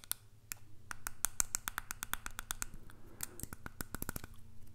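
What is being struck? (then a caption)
Small hollow plastic case. Fingernails of one hand rapidly tap and scratch a small hollow white plastic earbud case held in the other hand. About two dozen short, bright, dry clicks sound over a steady low hum, with a brief soft scratching stretch near the middle.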